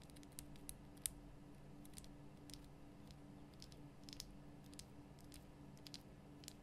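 Long nails tap around the top and sides of a large, lit pink Himalayan rock-salt lamp, a solid rough crystal block. The taps come as quiet, short, sharp, bright clicks at an uneven pace, a few standing out louder, over a steady low hum.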